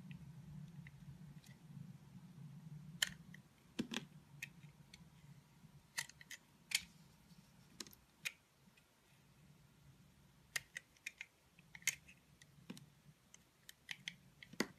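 A utility knife blade peels and cuts away the black dotted outer layer of a solid black and white bar soap with a white core. Short, crisp, bright cutting and scraping clicks with very brief decay sound over a low, steady hum. The clicks come in scattered bursts throughout.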